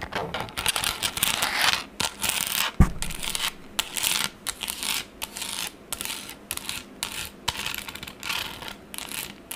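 The back of a pink plastic tablet case, held at an angle, is scratched and rubbed quickly with long acrylic nails. Bright, hissy scratching comes in rapid bursts separated by brief pauses, with one sharper tap partway through.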